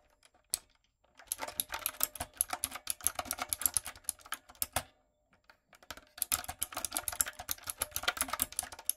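Fingertips and long nails type on a light-up, typewriter-style retro mechanical keyboard with round plastic keycaps. After a single early tap, two quick bursts of sharp, bright clicky keystrokes are separated by a short pause, and each click is dry and stops almost instantly.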